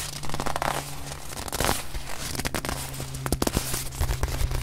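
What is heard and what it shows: Long manicured nails tap and scratch the surface of a small, soft, stuffed white leather-covered watch display pillow held in the hand. The result is a dense run of crisp, crackly taps and rustling scratches over a steady low hum.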